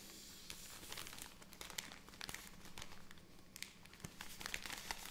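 A full plastic film bag of cotton pads is crinkled and tapped with long nails, then its top film is handled as the bag is opened. Soft, bright crinkling and rustling is broken by quick, sharp taps and crackles over a faint steady low hum.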